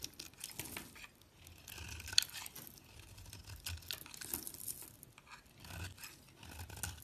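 A solid yellow bar of soap with a green speckled rim, held in fingers with long nails, is shaved and cut with a metal utility blade. Quiet, bright scraping and crisp tearing strokes come in uneven waves, with one sharp click partway through.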